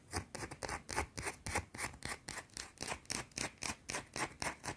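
Long blue-painted nails scratch aggressively at a small, solid, round white soap bar. About 19 quick, bright, rasping scrapes repeat in a fast, slightly uneven rhythm, each one dying away almost at once.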